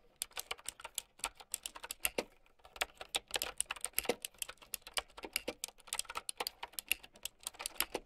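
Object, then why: Plastic mechanical keyboard with round keycaps. Long nails type fast on a plastic mechanical keyboard with round keycaps, producing a rapid stream of about 46 sharp, bright clicks and clacks. Each keystroke is crisp and dies out almost instantly, with very little low end and a brief pause near the middle before the typing picks back up.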